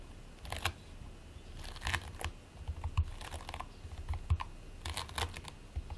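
Fingertips with short nails press, scratch and squish a flat patty of sticky purple and white play foam made of polystyrene beads, lying on a white plate. Quiet bursts of bright, crackly crinkling and tiny popping clicks come in clusters over a low, soft rumble, with a couple of sharper snaps standing out.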